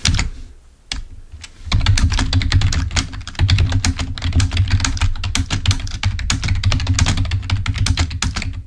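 A full-size black plastic wired Microsoft membrane keyboard lying on a white table is typed on with the fingertips of both hands. After a few scattered clicks and a short lull, the typing settles into a rapid, steady stream of key clicks, each with a dull low thump and a bright, dry tick. The clicks end quickly with no ring.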